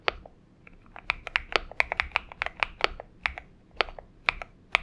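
Both hands type with their fingertips on a purple Xinmeng M71 mechanical keyboard with PBT keycaps, producing a quick, uneven series of crisp, bright key clacks. Each click stops almost instantly, with quiet gaps between the keystrokes.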